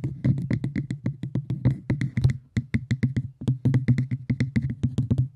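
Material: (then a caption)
Cork. Cork is tapped in a quick, rhythmic run of soft, low thuds, each dying away almost at once with a faint brighter click on top. The taps come in uneven bursts with brief pauses, giving a steady drum-like pattern.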